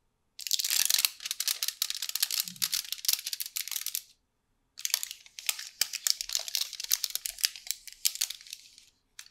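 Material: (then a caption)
Aluminium foil. A long, solid triangular Toblerone chocolate bar in aluminium foil, held flat on the palm, is tapped and scratched with long painted nails. Dense, bright foil crinkles and quick clicky taps come in two busy stretches separated by a brief silence, then a short final burst. The sound is almost entirely high and crisp, with no low end and no ringing.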